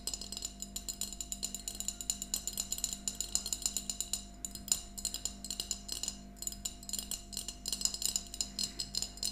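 Long fingernails on both hands tap rapidly over a small, empty glass mason jar mug with a yellow plastic lid, standing upright. Dozens of quick, bright, clicky taps overlap in uneven bursts, each dying almost instantly, over a faint steady low hum.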